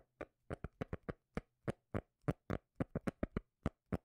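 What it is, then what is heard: Cork lid tapped. Fingers tap on a cork lid, making 18 short, dull, bass-heavy knocks in an uneven rhythm. Each tap stops almost at once, with no ringing, and there is near silence between them.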